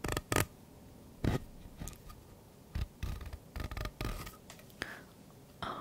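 Fingernails scratch and rub along the ridges of a purple, hollow, ribbed plastic pop tube held close up. The result is a series of short, uneven scratchy bursts, each with a low, hollow body and a bright rasp. Every burst dies away almost at once into quiet between strokes.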